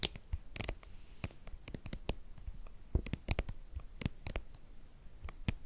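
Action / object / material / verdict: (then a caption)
tap / soft plastic cream tube / soft plastic / none. A white, hollow, hand-sized soft plastic cream tube is scratched and tapped with long painted nails. Many short, dry clicks and taps with bright, high edges sit over a quiet, low scratchy rustle, each dying away almost instantly.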